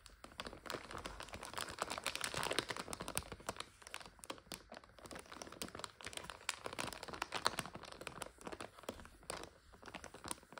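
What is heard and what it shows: Long acrylic nails tap, scratch and press on a full 400 g clear, printed plastic bag of dry egg noodles resting on a sofa. The bag gives a continuous bright crinkle over 10 seconds, with a rapid scatter of sharp, dry ticks and almost no low end. Each tick dies away at once.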